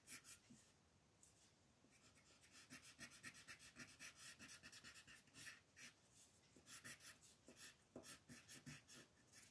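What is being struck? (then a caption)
Colored pencil on a paper coloring book page. A reddish-brown colored pencil scratches quick strokes onto a thin white coloring book page lying flat, outlining a tree trunk. The strokes come as a series of soft, dry, bright rasping bursts, with quiet paper hiss between them.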